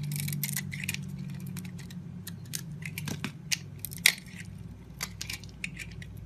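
A utility knife blade carves and shaves pieces off a yellow and white solid soap bar held in the hand. It makes a run of short, crisp, bright scraping crackles that break off quickly, with a few louder snaps, over a steady low hum.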